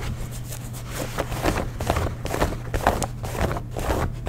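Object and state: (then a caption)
Denim jeans. Fingernails scratch and rub the thick cotton twill of light blue denim jeans near the belt loop and stitched seams. The result is a steady stream of soft, grainy scrapes with brief brighter rasps, over a constant low hum.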